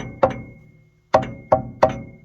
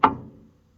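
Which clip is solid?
The first.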